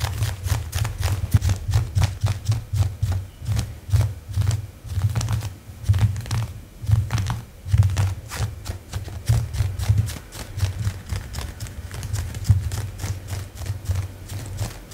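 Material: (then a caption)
Faux leather. Long pink-painted nails scratch and tap shiny black leather-look leggings worn on the leg, where the fabric is stretched over the knee and thigh. The sound is a steady, uneven stream of quick, dry taps and scrapes, each with a soft low thump around 100 Hz and a faint bright click that dies away almost instantly.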